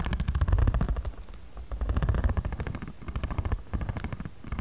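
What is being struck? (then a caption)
Stack of origami paper with card cover. A ridged spiral jade roller is rolled and scraped across the right side of a flat, solid pad of stacked origami paper with a card cover. It makes a low, rumbling, ratcheting texture of rapid uneven clicks in rolling bursts. The strokes ease off briefly around the one-and-a-half and three-second marks.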